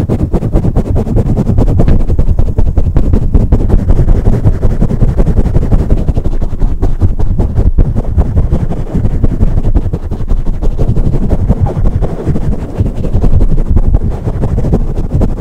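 Long pointed acrylic nails tap and scratch quickly across a rounded, soft, porous black foam windscreen fitted over a large studio microphone with a hollow capsule. The result is a dense, continuous stream of deep, muffled thumps and rustles, almost entirely low in tone with no bright content.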